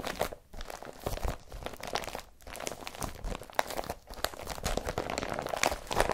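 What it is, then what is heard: Woven polypropylene bag. A large, empty blue woven polypropylene IKEA BRATTBY carrier bag with yellow handles lies folded flat while fingertips and short nails press, rub and crumple it. The result is a steady stream of dense, crisp crinkling and crunching with bright, rustling texture.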